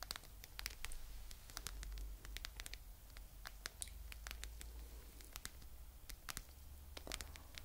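A mint green, hand-sized fluffy faux fur pouch with a "Chill Pill" patch is scratched and rubbed close up with long nails and fingertips. Many quick, bright scratchy ticks and soft rustles play over a steady low hum.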